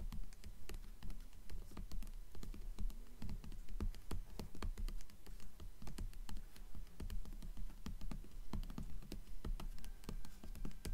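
Long fingernails on both hands tap rapidly on the glossy paper dust jacket of a hardcover book lying flat on top of a stack of books. The result is a steady, fast patter of short, crisp clicks with soft low thumps beneath and almost no ring after each tap.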